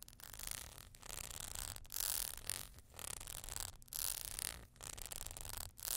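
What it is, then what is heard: Ribbed glass vase. Long glittery nails scratch and tap along the ribbed sides of a small, hollow, empty clear glass vase with horizontal ribs, standing on a furry surface. The result is soft, bright, raspy scraping that comes in repeated bursts separated by brief pauses, with a faint low rumble underneath.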